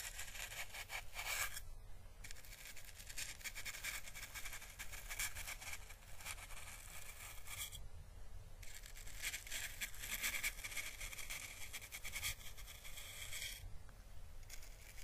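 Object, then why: Dried papery plant husk. A single small, hollow, dried orange Chinese lantern husk with thin, paper-like skin is held in the fingers and brushed with the bristles of a small paintbrush. It makes a soft, steady, bright scraping crackle in long strokes, broken by brief pauses near 2, 8 and 14 seconds. A faint low rumble runs underneath throughout.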